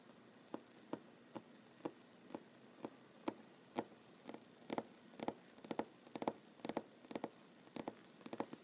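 Short fingernails of one hand tap on a large, solid wooden tabletop. About 25 quiet, dry, mid-pitched taps sound with no ring. They start evenly spaced and become looser and more clustered later, with some quick doubles over a faint steady hiss.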